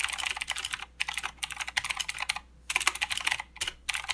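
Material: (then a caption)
Plastic. Both hands type with their fingertips on a full-size mechanical keyboard with plastic keycaps and blue clicky switches. The result is a rapid run of sharp, bright clicks in bursts, broken by short pauses. Each click is crisp and dies away almost at once, with hardly any low end.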